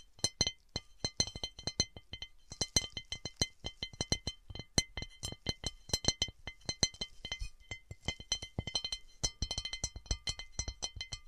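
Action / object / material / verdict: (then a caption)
tap / textured cut glass object / glass / none. A textured cut glass object is tapped and scratched with fingernails. Quick, bright clinks and clicks follow one another in a fast, uneven rhythm. Each one dies away almost at once, with steady high tonal lines ringing faintly between the taps.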